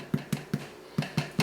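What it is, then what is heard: Hollow-sounding baked bread loaf (done inside). A cooled homemade bread loaf is tapped six times, each tap a short, hollow, low thump around 150 Hz that dies away almost instantly. The hollow sound shows the loaf is nicely baked through inside.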